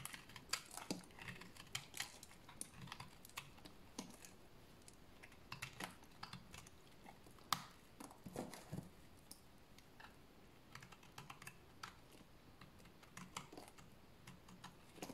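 A solid bar of dry cream-white soap is held in the hands and shaved with a utility blade. Quick, irregular, crisp scraping cuts with bright, dry edges sound over a quiet background, each stroke dying away almost at once.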